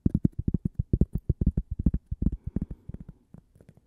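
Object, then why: Cork coaster. A flat, toast-shaped solid cork coaster is tapped and scratched on its face and edge with long purple fingernails. About twenty soft, dull, low taps come in a quick, uneven run, each stopping almost at once with no ring. The taps thin out and grow quieter toward the end.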